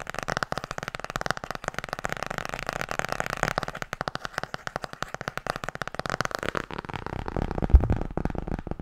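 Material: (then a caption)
Cardboard. Long painted nails tap quickly on the solid cardboard front cover of a blue hardcover "Tarot" book. The result is a dense, steady stream of short, dry clicks with a low, hollow thump under each one. Near the end, the taps shift to a slightly duller, thicker texture.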